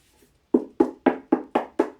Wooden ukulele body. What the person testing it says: c'est creux ça fait office de caisse de résonance